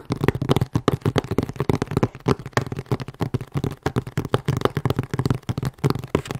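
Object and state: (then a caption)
Cardboard shipping box. A medium, closed, hollow corrugated cardboard shipping box with a UN3481 label is held at different angles and tapped with long nails. The taps come in a rapid, uneven run of short, dull, hollow knocks with mostly low body, little brightness, and almost no ring.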